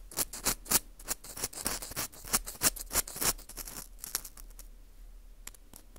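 An orange plastic earpick scrapes inside the hole of a porous dried wheat gluten ring (fu) held in gloved hands. It makes a quick series of dry, bright scratching strokes with almost no ring. The strokes grow fainter and sparser toward the end.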